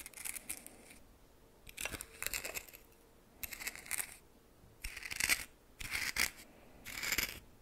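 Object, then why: Coarse salt in a small metal bowl. A red plastic spoon stirs and scrapes dry coarse white salt against the sides of a small greenish metal bowl. The sound comes in six separate bursts of bright, gritty, crackling scratches, with short quiet pauses between them.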